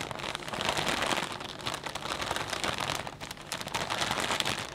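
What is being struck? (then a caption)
Plastic bag of potato chips. Hands squeeze and crinkle a clear plastic bag full of potato chips. A dense, continuous bright crackling with rapid sharp snaps fills the clip, with almost no low end and brief dips in loudness between squeezes.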